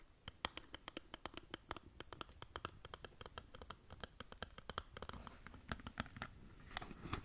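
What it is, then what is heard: Cardboard cosmetic box scratched with nails. Long nails scratch the faces of a small rectangular cardboard skincare box held in front of the mic, giving a rapid series of short, crisp, dry scratches. Each scratch is a quick bright burst that dies almost instantly over a faint low rumble. The scratching picks up into denser, slightly louder strokes toward the end.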